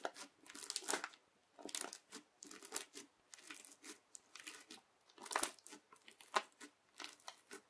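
A yellow plastic knife is pressed and dragged across a flat teal crunchy bead slime with clear beads. It makes irregular bursts of bright, crackly crunching and crinkling with short squelchy pops, separated by brief quiet gaps.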